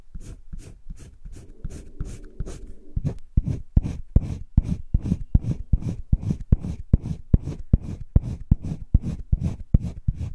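A green wooden colored pencil is rubbed and scratched across a page of thick drawing paper in a spiral sketchbook. Short, repeated strokes land at a loose, fairly steady rhythm, each a brief dry scratch with a heavy low body and very little bright content, growing louder and more distinct after the first few seconds.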